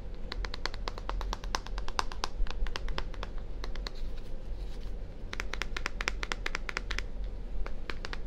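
A small purple plastic deodorant-style bottle with a label, likely hollow, is held in one hand next to a 3Dio ear and tapped with fingertips and nails. Quick, dry, bright clicks with almost no ring come in bursts, easing off briefly in the middle, over a steady low rumble.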